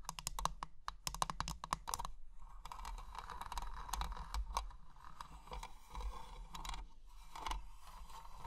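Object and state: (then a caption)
Metal and glass jewelry box. Long painted nails tap rapidly on the lid and sides of a small closed treasure-chest jewelry box with an ornate metal frame and clear glass panels, filled with plastic gems. The taps are quick, bright clicks with a short ringing tone around 1 kHz, arriving in fast clusters at first and then as a denser, steadier patter over a low background hum.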